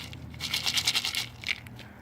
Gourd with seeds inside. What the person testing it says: if you shake it, you hear the seeds rattle inside